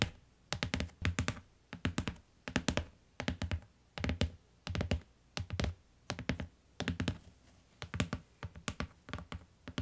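Fingertips and long nails tap the cover of a closed beige hardcover book with paper-covered board, lying flat on a faux-fur rug. Quick bursts of soft, dull taps with sharp nail clicks come in uneven clusters separated by short pauses. Each tap dies away almost instantly.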